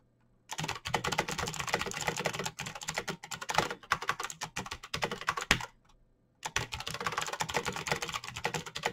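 Fingertips type rapidly on a black plastic mechanical keyboard with clicky switches and backlit keys, producing a dense stream of sharp, bright clicks. The typing runs steadily for about five and a half seconds, stops for a brief silent pause, then resumes at the same fast pace to the end.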